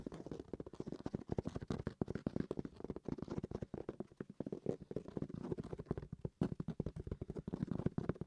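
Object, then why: Hard-shell game console carrying case. A hard-shell carrying case for a game console is tapped with rapid, steady, dense taps for about eight seconds. Each tap is a short, dull, low knock that dies away almost at once, much like tapping a hardback book.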